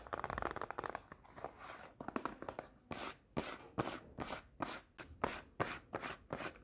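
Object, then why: Small cardboard snack box. Long painted nails rub and tap across the surfaces and edges of a small closed cardboard Pocky snack box. A dense run of quick, dry tapping and scratching gives way to a steady series of separate rasping scrapes, each a short burst of papery noise.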